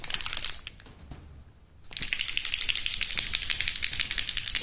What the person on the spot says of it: vous entendez le bruit quand je secoue mes PES c'est des billes de des billes d'acier de inox